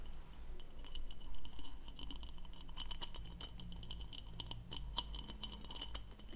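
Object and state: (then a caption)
Plastic goblet scratched and tapped. Long nails scratch and tap across the diamond-textured hollow bowl of an empty blue plastic goblet held close. The result is a quick, irregular run of dry, bright scratchy ticks with a thin ring near 3 kHz over a steady low hum.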